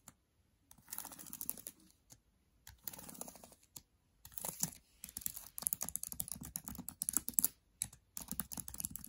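Fingers with long nails type quickly across the plastic keys of a MacBook Air keyboard. The typing comes in several bursts of rapid, bright clicks separated by brief silences.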